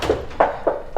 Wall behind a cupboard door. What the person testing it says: Et là derrière, ça sonne creux. C'est pareil.